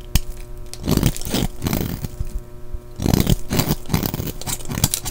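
A solid green-and-white striped bar of soap held in the hand is shaved with a utility knife blade, scraping off curls and crumbs. Repeated dry, crunchy scraping strokes come in bursts, heavy in the low end with short crackling edges and almost no ring.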